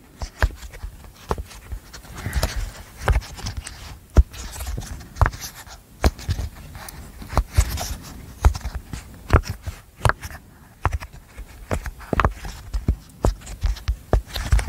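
A hand-sized, flat, apple-shaped rainbow silicone pop-it with hollow bubbles is held in both hands close to the mic while its bubbles are pressed, popped and tapped with long manicured nails and fingertips. The result is a steady, uneven stream of short, dry pops and clicky taps, each with a soft, low thump and almost no ring, over a quiet, muffled background of handling scrapes.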